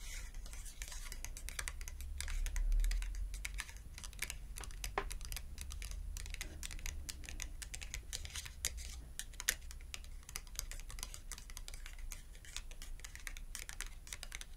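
A small, thin red cardboard shopping tag is held edge-on between both hands while its edge is tapped rapidly with long acrylic nails. The result is a quick, uneven stream of light, dry clicks and ticks over a steady low hum.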